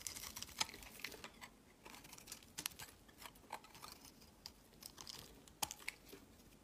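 A utility knife blade shaves thin curls off the edge of a solid, rectangular, palm-sized bar of lavender soap held in the hand. Quiet, bright, crisp scraping and crackling come in short, uneven bursts with a few sharper snaps, and each cut stops almost instantly.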